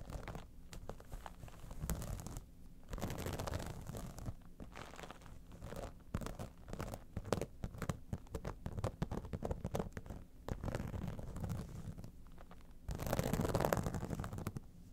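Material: Vinyl.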